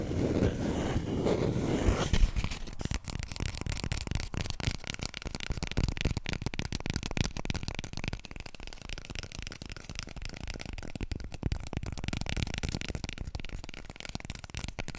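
Long nails scratch and then rapidly tap on a small, full roll of white toilet paper with a soft paper surface. A low, rustling scratch in the first two seconds gives way to a quick stream of soft, dull taps with a faint bright papery crackle. Each tap dies away almost instantly.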